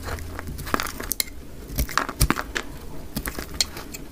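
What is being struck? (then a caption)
Bar of soap scraped with a knife blade. A utility knife blade scrapes thick curls off a dry, solid orange-yellow soap bar, played at double speed. Short, dry, crisp scrapes and crunchy crackles come in quick bursts over a low background rumble, each stroke bright and brief with no ring.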